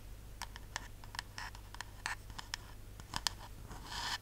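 Long nails scratch and tap along the printed white-and-purple label of a tall, hollow, pressurized metal aerosol shaving cream can with a white plastic cap, held in the hands. The result is a quiet run of short, dry, bright scrapes and clicks with almost no ring, over a steady low hum, ending in a longer, brighter scratch.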